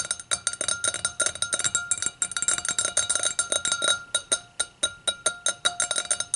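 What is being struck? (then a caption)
Glass hurricane glass. Long acrylic nails tap rapidly around the rim of the round foot of an empty, clear hurricane glass held upside down. About 35 quick, bright clinks ring briefly with a steady glassy tone near 3.8 kHz and a lower one near 1.3 kHz, fading fast between taps.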